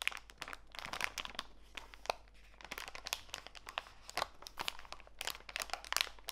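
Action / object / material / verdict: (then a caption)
scrape / plastic bag of walnut pieces / plastic / none. A small clear plastic bag full of walnut pieces, lying on a foam mat, is rubbed and pressed by fingertips and long white nails. This produces dense, bright crinkling and crunching crackles with short, sharp snaps and quieter rustling between them.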